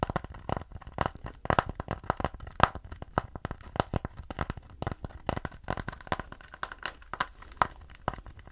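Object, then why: Round wooden plate. Fingertips and nails scratch and tap the back surface of a round wooden plate held in front of the chest. The result is a rapid, uneven series of short, dry ticks and crackly scrapes with a faint midrange ring around 1.3 kHz and very little high-end sparkle.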